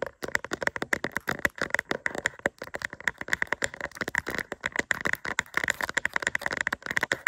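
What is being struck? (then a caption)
Resin rhinestone sticker on plastic backing. Long acrylic nails rapidly tap and scratch a small, thin, solid doll-shaped diamond-painting sticker covered in resin rhinestones on a plastic backing, held in both hands. The result is a dense stream of short, dry clicks and scratchy ticks, centered around 2 kHz with bright high edges and almost no low end.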